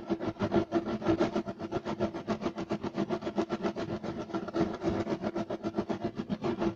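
Short nails of both hands scratch rapidly across a solid, flat beige striped woven loop-pile carpet. The result is a fast, steady run of rough, rasping strokes with a dense mid-range texture and a faint tone around 330 Hz.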